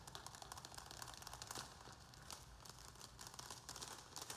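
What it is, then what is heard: Plastic plant pot. Fingernails scratch and tap rapidly around the rim and sides of a round black plastic plant pot filled with soil, held in both hands. The result is a quiet, continuous stream of bright, crinkly scratches dotted with quick dry clicks, over a faint low rumble.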